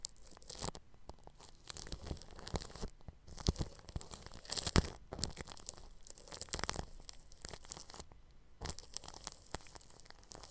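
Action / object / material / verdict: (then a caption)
scrape / plastic cling film stretched over a microphone, brushed with a bristle brush / plastic film / none. A bristle paintbrush brushes across clear plastic cling film stretched over the grille of a round microphone. The result is a quiet, continuous crinkling and scratchy rustle, bright and airy, with louder sweeping strokes and a few brief pauses between them.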